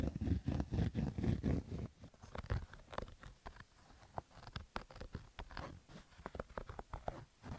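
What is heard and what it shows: Fingernails scratch roughly across the stitched fabric of a black Adidas baseball cap. For the first two seconds the scratching comes in loud, dense, muffled bursts heavy in the low end. It then turns quieter, with short, sharp rasping strokes at a fairly steady quick pace.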